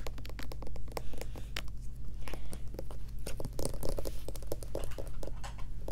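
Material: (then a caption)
Plastic. Long nails rapidly tap and scratch the back label and bottom of a white plastic Lubriderm lotion bottle as it is held at different angles. The sound is a fast stream of short, dry clicks and scratchy strokes with bright edges, over a steady low hum.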